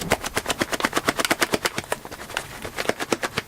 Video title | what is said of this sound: Deceptive Present Wrapping | passes the rattle test and that's pretty convincing what a VHS normally sounds like